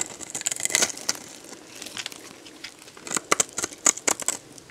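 A metal box-cutter blade scrapes and slices crunchy chunks off a solid, dried yellow bar of soap held in the hand. The sound is a series of sharp, bright crackling crunches and scratchy scrapes with almost no low end, each cut stopping short without ringing.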